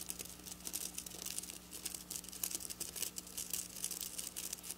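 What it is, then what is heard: Plastic sequin fabric. Long black nails with their tips pointed down scratch and tap quickly across silver plastic sequin fabric. The result is a quiet, dense stream of bright, crisp clicks and crinkly scratches, with a faint steady low hum underneath.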